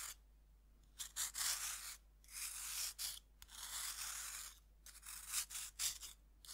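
A serrated metal knife scrapes the flat face of a cut, solid pink pressed-powder bath bomb held in hand over a wooden board. Bright, gritty rasping strokes of varying length come in bursts separated by quiet pauses, ending in a run of shorter scratchy passes.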